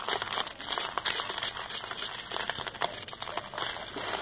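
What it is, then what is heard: Packed sand ball being scraped. A solid, disc-shaped ball of compacted soft, dusty red sand, held in the palm, is scraped and shaved with a metal knife. The result is a continuous dry, gritty crinkling and crackling, bright and hissy with almost no low end, broken by quick sharp scratches as the blade bites into the sand.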